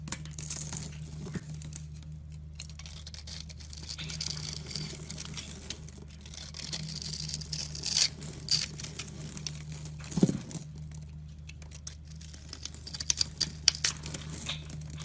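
A utility knife cuts a grid into a solid green soap bar held in the fingers and shaves off small cubes. Crisp, bright scraping and crumbly tearing sounds come in quick bursts over a steady low hum, with a few sharper snaps as pieces break away.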